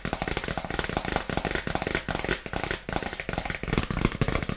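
Long nails tap rapidly and continuously on a dark polka-dot paper gift bag with a ribbon. Each tap is a dry, crisp papery click with a faint crinkle and almost no ring, and the taps run together in a dense, uneven patter throughout.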